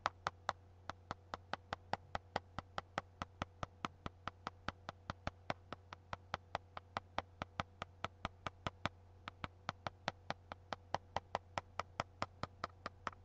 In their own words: Tapping on a book with one nail.